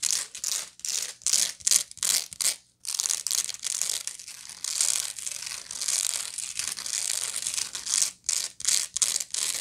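Long manicured nails scratch across the coarse, textured weave of a medium-sized, hollow, round woven straw or raffia bag that is held up. Short, bright, crackly rasps come in quick bursts at the start and end, with a steadier, continuous scratching hiss in between. The sound is almost entirely high and dry, with no low body or ring.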